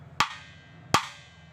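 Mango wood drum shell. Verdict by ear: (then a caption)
Resonant. Two taps on a bare mango wood dhol drum shell each give a bright, woody knock with a pitched tone near 1.2 kHz. A faint high ring trails after each tap, marking the shell as resonant.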